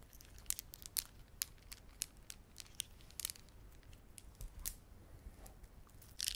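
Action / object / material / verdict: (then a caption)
scrape / plastic beaded ornament / plastic / none. A plastic beaded ornament is squeezed and rubbed by fingertips, giving a quiet run of sharp, bright clicks and crinkling ticks over a soft low rumble. The clicks come in irregular bursts, some clustered, with no ringing after each one.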